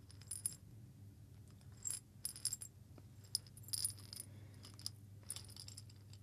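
A small hollow glass jar with a metal lid, partly filled with coffee beans, is shaken and turned by hand. The beans give quiet bursts of bright, clicking rattles against the glass, in short clusters over a steady low hum.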